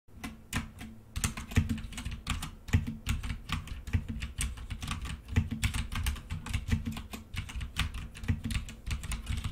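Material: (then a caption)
Plastic. Both hands type rapidly with fingertips and short-to-medium nails on a full-size, hollow-bodied black plastic mechanical keyboard with a few red keycaps, lying on a desk. The steady run of quick key taps has a dull, low, thocky body and short, bright clicks that die away almost instantly.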